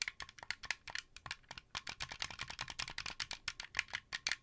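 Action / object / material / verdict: tap / plastic game controller / plastic / none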